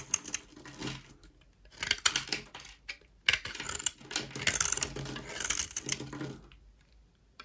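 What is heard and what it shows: A rectangular, solid yellow-white Duru bar of dry soap is held in the hand and scraped and shaved with a utility knife blade, so dry flakes fall off. The result is a series of crisp, crackly, bright scraping strokes with almost no low end, separated by short quiet gaps.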